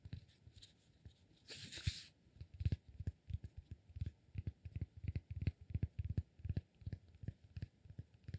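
A rectangular solid cork block, held in one hand, is scratched and tapped with fingertips and short nails. There are about two dozen soft, dull, low taps in quick succession, with a short burst of scratchy rustling near the start. The taps are quiet and die away almost instantly.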